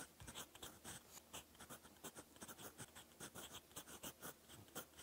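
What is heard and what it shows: A gold fountain pen nib scratches across a lined cream paper notebook page while writing Korean text. The result is a quiet, repeated series of short, bright scratching strokes with a soft papery hiss between them.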